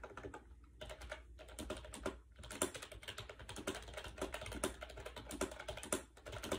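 Fingertips type quickly on a compact gray plastic AJAZZ 308i wireless Bluetooth keyboard with round white keycaps, resting on a bed. The hollow plastic keys give dense, rapid clacks with short, bright clicks and a steady low hum underneath, with a few brief pauses between bursts.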